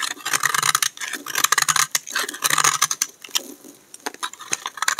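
A utility knife blade scrapes and shaves a hand-sized solid bar of dry green soap held in the hand, piling up flakes. Quick, crisp, dry scraping strokes follow one another in a bright, crackly texture with no low end. A quieter stretch near the end gives way to a few last sharp shavings.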